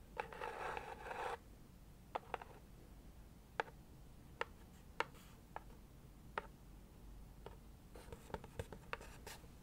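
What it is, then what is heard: Cardboard gift box. Very long acrylic nails scratch across the lid of a closed, hollow leopard-print cardboard subscription box held in hand, making a dense, bright scratching for about the first second. Sharp, dry taps on the lid follow at irregular intervals, each dying away almost at once over a faint steady background hiss.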